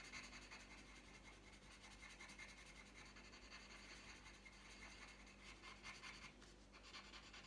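The tip of a green wooden coloured pencil scratches and rubs across a thin, flat printed paper colouring sheet lying on a tabletop while colouring. The result is a quiet, continuous, bright scratching hiss with a gentle back-and-forth rhythm of strokes and no clear separate hits.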